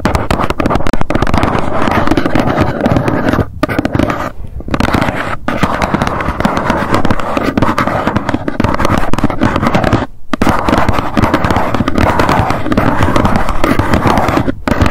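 Long nails tap rapidly and scratch lightly on the front of a small, hollow white cardboard box standing upright. The result is a dense, continuous patter of short, dull, hollow taps with a low-heavy body, broken only by a few brief pauses.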